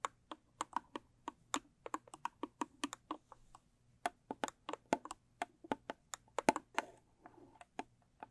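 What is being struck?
Small rigid cardboard gift box.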